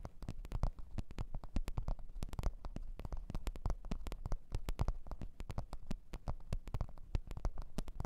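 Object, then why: Leather microphone case. Long orange-red nails tap and scratch a black leather (likely faux) microphone case resting on white fur. Quick, dull, low taps come in a steady, busy stream with faint scratchy texture between them, each dying away almost instantly. The sound stays soft and deep with no bright edge.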